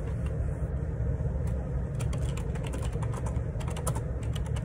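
Fingertips type on the plastic keycaps of a black Perixx Periboard 612 wireless Bluetooth ergonomic split keyboard with a hollow plastic housing, lying on a grey laminate desk. Light, bright key clicks patter irregularly over a steady low rumble that dominates the sound.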